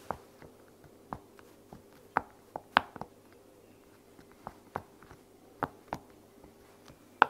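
The bubbles of a heart-shaped silicone pop-it toy resting on a blanket are pressed and popped with fingertips and long nails. The result is a series of short, dry pops and soft clicks at uneven intervals, some brighter and louder than others. Between the pops there is a faint steady hum.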